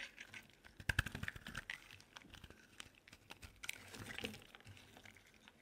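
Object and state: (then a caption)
Dry bar soap being carved. A solid lilac bar soap held in the hand is scraped and carved with a metal utility knife blade. Quiet, rapid, dry scratchy crackles and crumbly scrapes run throughout, with louder bursts around the first second and again near the fourth.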